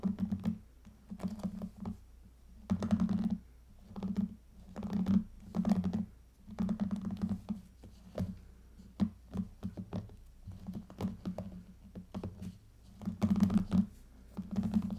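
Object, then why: Plastic hairbrush bristles. The pink plastic bristles of a small hairbrush are scratched with long nails, giving repeated bursts of dry, raspy scratching over a steady low hum near 190 Hz. The strokes come in short clusters with brief pauses, and each scrape fades quickly.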